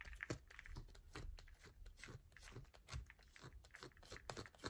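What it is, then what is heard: Bar of soap scratched with nails. A solid yellow bar of soap held in the hand is scratched with long nails. Quick, dry scratching and tapping strokes come in a rapid, uneven series, each a short crunchy burst with a soft low thump beneath, close and quiet with almost no ring.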